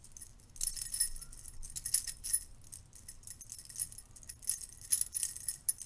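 A stack of silver metal curtain rings held in the hand is riffled and jangled by the fingers so the rings knock against each other. The result is quiet, bright, tinkling metallic jingles in quick clustered bursts that die away almost at once, over a faint low rumble.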